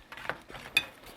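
Dried pollack (meoktae) is stirred in a pan to drive off moisture until it is crisp rather than soggy. Light, bright crackles and scrapes are heard, with two sharper clicks standing out. The result is a crispy, dry sound as the fish moves in the pan.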